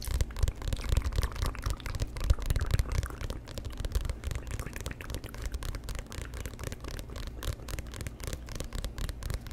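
Fingertips and nails scratch and tap the cover of a solid, glossy paperback book held in front of a microphone. A rapid, irregular stream of dry scratching and soft tapping bursts continues throughout, with most of the energy in a low thump and only faint bright scraping above it.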